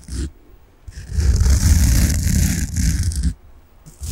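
A large, solid, peach-coloured soft foam sponge is held in the hands and scratched with fingernails. A brief scratch is followed by a long stretch of dense, rough scraping with a deep rumbling low end and a soft airy hiss above. It quiets down, then a short scratch starts again at the end.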